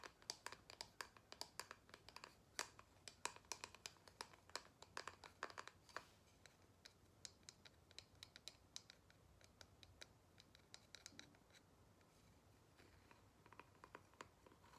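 Long nails tap and scratch a single square cork-backed photo coaster held in the hands, flipping it between the cork back and the glossy photo face. Quick, crisp, bright clicks and dry scratches come in dense bursts for the first few seconds, then thin out into sparser, quieter taps with almost no ring.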